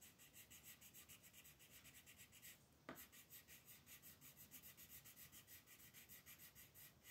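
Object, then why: Wooden colored pencil on a paper page. A dark green wooden colored pencil is rubbed in repeated shading strokes across a large, flat sheet of thin white paper printed with a mandala, lying on a table while a hand with red nails holds the sheet steady. The strokes make a quiet, steady, rhythmic scratching with a bright, papery hiss, pausing briefly near three seconds at a sharper scrape before the shading resumes.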